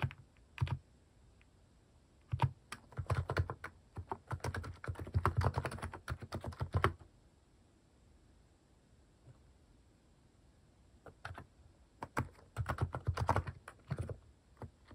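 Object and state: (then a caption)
Plastic mechanical keyboard being typed on. Fingertips type fast across a plastic mechanical keyboard fitted with cat keycaps, producing dense bursts of short, low clacky key presses. Two long typing runs are separated by a quiet pause with only a few scattered taps.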